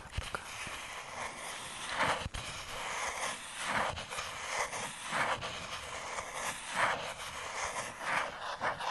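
Fingertips and short nails tap the surface of a thin, light, hollow-backed white molded paper fibre insert tray from an iPhone box, held in one hand. Soft, papery, mid-to-high taps come in uneven bursts over a faint steady hiss.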